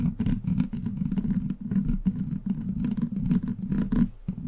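Long black plastic claw nails scratch and tap a hollow steel mesh microphone grille. Dense, rapid scraping and clicking rides over a steady low hum, with short bright crackles flickering throughout. The contact stays close and continuous, with no ring between touches.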